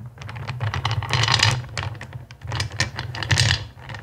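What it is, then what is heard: Clear acrylic gems clattering in a bowl. Fingertips with long pink nails rake and rummage through a black bowl filled with small, solid, clear acrylic crystal-shaped gems, so the gems clatter against each other. Dense, bright clicking and rattling swells louder around the middle and again near the end, over a steady low hum.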